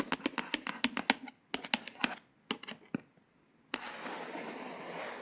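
Long pointed acrylic nails tap and trace the raised letters of a glossy embossed "Dream with a Vision" cover on a flat, solid hardcover paper book. Quick, dry, bright clicks come in clusters separated by short silences. The sound then turns into a steady, airy scratching as the nails glide over the letters.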